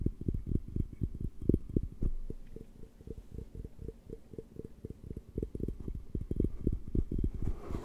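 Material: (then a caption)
Glass. Fingertips tap and scratch the sides of a large, empty, clear glass beer mug with a handle, held hollow in front of the microphone. A fast, uneven run of soft, dull, low thumps comes with faint scraping between them, with almost no bright ring after each tap.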